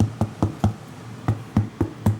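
Seven quick knocks on a whole French pumpkin to check its ripeness give short, hollow, drum-like thuds with a low pitch around 105 Hz. Each thud dies away almost at once. The pumpkin sounds ripe.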